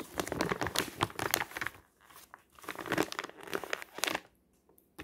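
Fingertips grip, crinkle and crumple a thin, crumpled newsprint advertising flyer with a pink "20% korting" circle on a table. Dense, bright crackling bursts come in waves with short quiet gaps near the two-second and four-second marks. The clip ends on a final sharp crinkle.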